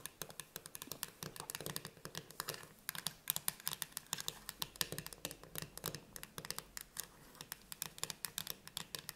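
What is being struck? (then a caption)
Metal food can lid tapped and scratched with fingernails. Long red nails tap and scratch fast on the metal pull-tab lid of a closed, full Conad Ceci chickpea tin can standing on a table. The result is a rapid, irregular stream of sharp, bright clicks with very short decay, mixed with light scratchy rasps over a faint low hum.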